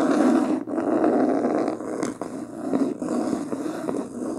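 Long painted nails scratch and tap quickly across the beige linen-textured cloth cover of a medium, solid hardcover book lying closed on a table. The result is a dense, continuous rasping scratch, strongest in the low mids, with brief dips and faint taps scattered irregularly through it.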